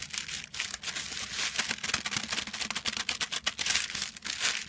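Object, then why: Small package wrapped in metal foil. Fingertips scratch and crinkle the silver foil wrapping of a small, flat, rectangular package resting on a white cloth. The result is a continuous, bright, dry crackling with rapid scratchy bursts and almost no low end.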